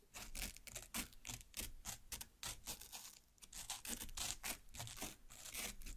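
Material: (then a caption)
Watermelon flesh. Long black nails, one from each hand, pierce and cut the red flesh of a large watermelon half lying flesh-up. The result is a quick, irregular run of bright, wet tearing and scraping bursts with a faint low thump beneath them.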